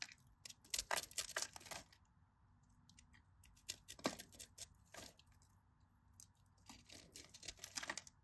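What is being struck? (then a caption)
Bar of soap. A craft knife blade scrapes and cuts cubes from the scored surface of a solid, cream-colored bar of dry soap resting over a blue mat. Quiet, crisp, bright crackling and scraping clicks come in clustered bursts, with very little low end and almost no ring between strokes.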